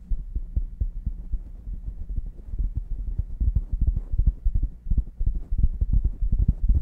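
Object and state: Knit beanie over microphone, scratched.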